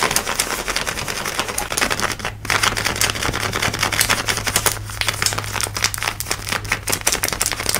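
Fingertips and long nails scratch fast along light blue denim jeans worn on the hip and thigh, running over the fabric, seams and pocket. The result is a dense stream of bright, crackly scratches in quick strokes, with a faint steady low hum underneath.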